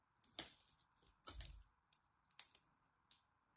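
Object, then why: Bar of soap scraped with a blade. A black blade scrapes and cuts flakes from the edge of a solid green bar of soap held in the fingers. Several crisp, bright crackling scrapes stand out, the loudest near the start with a faint low thud. Quieter flaking ticks fall between them over a soft steady hiss.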